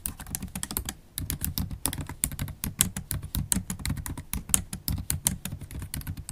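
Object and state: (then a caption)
Laptop keyboard with plastic keys in aluminium body. Long acrylic stiletto nails type on a MacBook Pro keyboard with black plastic keys in an aluminium body. A rapid, uneven run of sharp, bright clicks and taps carries a low thudding body, pausing briefly near the one-second mark before continuing steadily.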